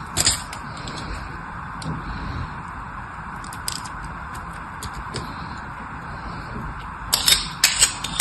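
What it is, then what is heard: Bar of soap being scraped. A metal blade shaves and scrapes the surface of a solid blue bar of soap held in the hand. A steady, bright scraping hiss runs throughout, with sharp crisp cuts at the start and a cluster of louder, crackly strokes near the end.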